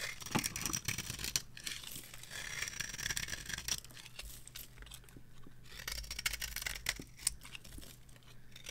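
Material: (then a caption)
Soap. A small metal blade carves curls and shavings off a dry, varnished, cream-coloured soap bar with a gold-coloured top, held in the palm. The result is a steady run of crisp, bright scraping and crackling strokes with short, dry sounds that stop quickly, over a faint low hum.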